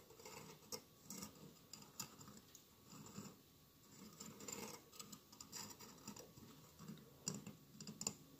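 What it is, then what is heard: Glass mosaic candle holder. Fingernails scratch and tap the glass tiles of a hollow glass mosaic votive candle holder with a lit candle inside. Soft, quiet scratching is broken by sharp, light clicks that stop almost instantly, with a bright, high edge over a faint lower body.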